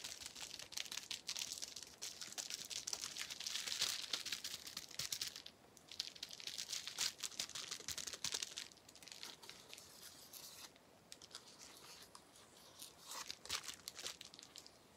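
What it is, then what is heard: Plastic bubble wrap being popped. A small clear plastic sheet of air-filled bubble wrap is held in both hands while the bubbles are squeezed and popped with the fingertips. Dense, bright crinkling and sharp little pops come in quick, irregular bursts, easing into brief quieter gaps before the crackling picks up again.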